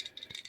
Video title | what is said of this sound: Just Another Day In The Shop Storage Unit Walk Through And Tool Cart Tool👨‍🔧Review Pt99 #nanosocket🤔 | shaking the ratchet and i'm not shaking it that hard but you can hear the play between the socket and the anvil